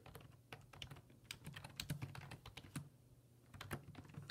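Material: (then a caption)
Plastic. Fingertips type on the hollow plastic keys of a black plastic full-size computer keyboard resting on a wooden desk, making a quick, uneven run of repeated tapping keystrokes. Each tap is a short, dry click with a bright edge that dies away almost at once over a steady low hum.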